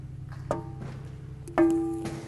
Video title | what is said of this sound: NORMAL PREFLIGHT | if you do this and don't hear that nice ringing you may have a crack somewhere in the prop